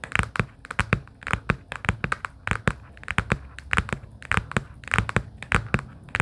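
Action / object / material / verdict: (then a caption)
tap / small cardboard sticky-note case / cardboard / none. Long pink acrylic nails tap and lightly scratch a small, hollow, closed pastel plaid cardboard sticky-note booklet case. The result is a quick, irregular run of short, dry clicks with a low hollow thump beneath and bright nail ticks on top. Faint scratching fills the gaps between taps.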